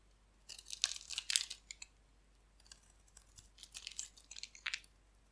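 A hand-sized, solid, dry bar of orange-and-yellow striped soap is held in the hand and scraped and carved with a metal utility blade, sending crumbs falling. The sound is crisp, bright scraping and crackling in two clusters of short, dry bursts separated by a quieter pause, with no low end and almost no ring after each stroke.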